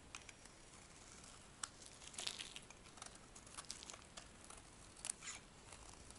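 A metal knife scrapes shavings off a solid, palm-sized dry white bar of soap held in the palm, the shavings curling and piling on the bar. Quiet, dry, bright scratching and crinkling comes in short bursts with sharp high clicks, and each stroke stops dead without ringing.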